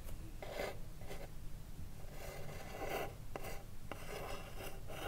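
Long blue nails rapidly scratch the wooden front of a small, hollow wooden cigarillo box held upright. They make repeated raspy, filing-like bursts with a hollow midrange body and bright hiss. A steady low rumble runs underneath throughout.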